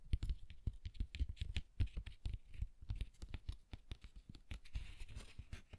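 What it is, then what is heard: Textured cardstock card cover scratched. A closed green cardstock pop-up harp card is held in the hand while fingertips and nails scratch and rub its textured cover. Quick, dry scratches and soft taps follow one another in an irregular patter, each with a dull low thump and a faint bright scratchy edge. Every stroke stops at once with no ring, and the sound stays quiet and close.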